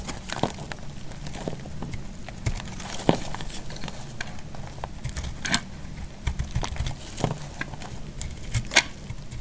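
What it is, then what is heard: Dry bar soap being shaved. A solid, dry orange bar soap held in the hand is cut and shaved into curls with a utility knife blade. Repeated short, crisp crackles and scraping snaps stand out over a soft, low rumbling bed. Each cut dies away almost instantly.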